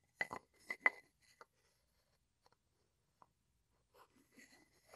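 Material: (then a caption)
Wood. A wooden pestle is tapped across the rim of a small, hollow, light-wood mortar that appears empty and is held in both hands, then rubbed and ground inside the bowl. About four sharp, bright knocks with a short woody ring come in the first second and a half. They are followed by sparse faint ticks and soft, low scraping from the grinding near the end.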